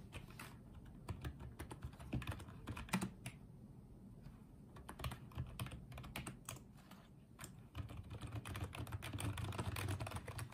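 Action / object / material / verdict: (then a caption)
tap / plastic wireless keyboard / plastic / none. Fingertips type on and tap the keys of a small pink and white plastic Apeach wireless keyboard. The result is a steady run of soft, irregular plastic clicks with a low thock under brief bright ticks. There are short lulls in the typing, and it grows denser and louder near the end.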